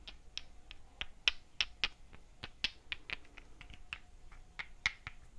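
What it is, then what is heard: Miniature clay bricks knocked together. Two tiny hollow terracotta bricks with holes, each a few centimeters in size, are held in the hands and tapped against each other. About fifteen quick, irregularly spaced knocks make sharp, bright clicks that die away almost instantly. The taps are quiet and thin, with little low-end body.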